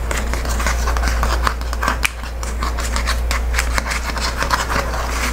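Painted nails scratch and rub along the pull-to-open strip and paper face of a flat Amazon kraft paper padded mailer lying on a wooden table. Dry, papery scratching rasps come in quick short strokes over a steady low hum.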